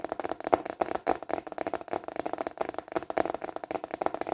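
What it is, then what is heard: Plastic container lid. A large, flat, translucent rectangular plastic container lid with raised ridges is held upright in both hands and tapped quickly with fingertips and short nails. It gives a rapid stream of dry, hollow clicks with a plasticky tone around 680 Hz, each tap dying away almost instantly.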